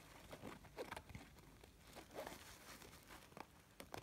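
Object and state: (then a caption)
Faux-leather zip pouch. Fingertips and nails scratch and rub the surface of a small, hollow, gold snakeskin-textured faux-leather cosmetic pouch that is zipped shut, then fiddle with its metal zipper pull. The result is quiet, dry, crinkly scratching and rustling with short taps and brief bright clicks.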